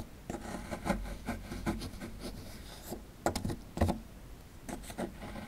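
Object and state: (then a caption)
Plaster fossil dig block being scraped. A metal pick scrapes plaster from around partly exposed toy bones in a solid plaster dig block. Short, gritty scraping strokes repeat over a soft, low, rumbling background, with a few sharper scrapes standing out near the middle.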